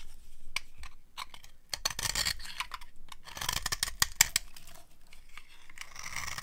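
A metal blade scrapes and carves a dry, solid white cream soap bar held in the hand, shaving off fine crunchy flakes. A quick series of dry, bright scratches and crackles is heard, with short sharp peaks and low thuds in the background and no ring after each stroke.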